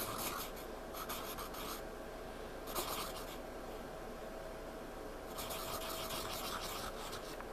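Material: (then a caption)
Paper. A pencil point scratches and shades across a spiral-bound paper sketchpad lying flat. The result is bursts of bright, dry, raspy scraping with quiet pauses in between, over a faint steady background hiss.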